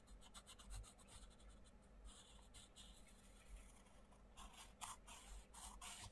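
A wooden coloured pencil tip rubs and scratches across the paper page of an open paperback colouring book in colouring strokes, while the other hand holds the book open. Soft, dry, scratchy strokes repeat in quick bursts of bright hiss, growing brisker and brighter toward the end over a quiet low hum.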